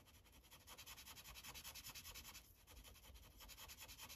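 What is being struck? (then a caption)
Felt-tip marker on a paper sheet over a plastic clipboard. A light-blue Sharpie felt tip is rubbed in fast back-and-forth coloring strokes across a thin white coloring page resting on a plastic clipboard. The result is a soft, bright, scratchy rubbing that pulses with each rapid stroke, with a brief dip in the rhythm around the middle.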